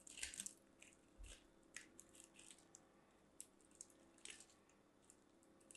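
A mint-green striped solid bar of soap is grated on a small hand-held metal box grater, with fingertips pressing the soap down. Repeated bright, crisp scraping strokes come in short bursts, some louder than others, over a quiet background.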